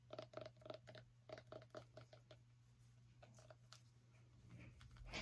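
Long nails tap quickly on a small orange pumpkin, each tap making a short, hollow knock with a mid-pitched tone near 640 Hz that dies away almost at once. The tapping thins into softer, scattered taps and scratchy rubbing, ending in a louder rustling swell, all over a steady low hum.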